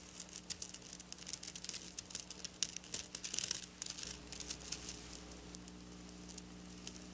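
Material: Plastic sequins.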